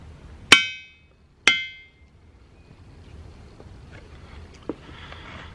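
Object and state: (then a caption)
Ringing boulder. A hammer strikes a boulder in the boulder field at Ringing Rocks County Park twice, about a second apart, and each strike gives a clanging, bell-like ring pitched around 2.3 kHz with bright overtones that fades over about half a second. Afterward only quiet outdoor background remains, with a faint soft knock near the end.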